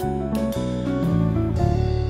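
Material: Nothing is struck.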